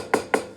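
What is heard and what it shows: A rock is tapped against a wall twice, giving two short, hollow knocks with a woody, block-like tone centered around 440 Hz. Each knock dies away quickly, with little low end.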